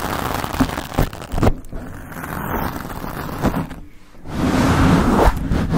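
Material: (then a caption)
Foam. Long acrylic nails on both hands scratch and rub all over a rounded, soft, porous black foam windscreen fitted over the hollow head of a decorated microphone. The result is a dense, close, low rumbling scratch with soft rustling swells and several sharper taps standing out.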